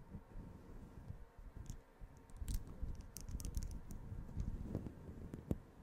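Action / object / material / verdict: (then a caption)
scrape / synthetic fur microphone windscreen / faux fur / none. Long green-painted fingernails and fingertips scratch and brush a soft, grey fluffy synthetic-fur windscreen covering the head of a white USB microphone. It produces a continuous, muffled low rumbling rustle with faint bright crackly ticks scattered through it and one sharper scratch near the end.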